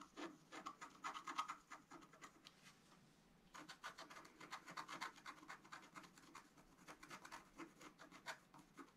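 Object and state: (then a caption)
Scratch-art card being scratched. A wooden stylus scratches the black coating of a flat scratch-art card around the gold halo, producing a run of quick, dry, rasping strokes. The strokes come in dense bursts with a brief quieter pause near the middle, each one short and bright with a faint papery hiss.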